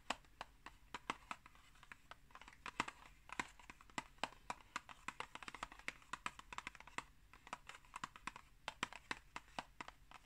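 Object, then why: Printed cardboard tea box. Long acrylic nails rapidly tap the flat front of a tall, hollow, rectangular Pukka tea box made of printed cardboard, held upright. The result is a fast, uneven stream of sharp, dry clicks with a bright papery edge, a hollow mid tone and almost no ring.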